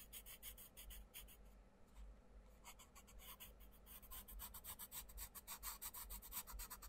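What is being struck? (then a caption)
Paper page rubbed with a wooden coloured pencil. A wooden coloured pencil rubs dense shading strokes across the page of an open paper colouring book on a wooden table, while the other hand steadies the page. Quick, bright, scratchy back-and-forth strokes come in bursts, ease off into a softer, quieter stretch near the middle, then return faster and louder to the end.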